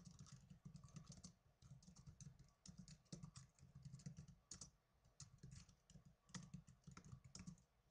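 Fingertips with blue-painted nails type on the plastic keys of a small black plastic netbook keyboard. Rapid, uneven bursts of light, bright clicks and taps run over a steady low hum, pausing briefly between runs. The whole clip stays quiet.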